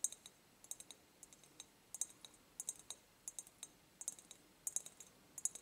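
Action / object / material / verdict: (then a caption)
tap / glass jar / glass / none. Long nails tap quickly on an empty, medium-sized ribbed clear glass jar held tilted up close. The bursts of sharp, bright clicks come in irregular clusters, with short chiming rings at high pitch and almost no low end.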